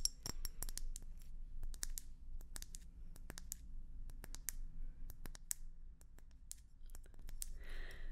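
Long nail tips tap a hollow red and white swirled glass hummingbird feeder held upright, producing quick, sharp, bright clicks that die away almost instantly. The taps come in an irregular stream over a steady low hum, ending with a brief scratchy rustle.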